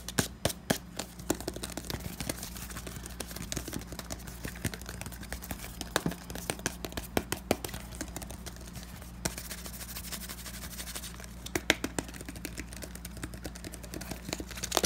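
Fingertips tap rapidly and irregularly on the round cap and side of a hand-sized, hollow pink plastic foot powder bottle. The result is a dense stream of short, dry, bright clicks that stop instantly, over a steady low hum.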